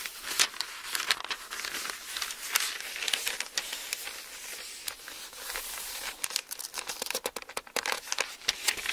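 Fingertips flip the thin printed paper pages of a large open hardbound Bible held flat, while the palm rubs and smooths the page surface. The result is a steady, bright, crinkly rustle with no low end, broken by many quick, sharp crackles and snaps as pages turn, growing denser and choppier toward the end.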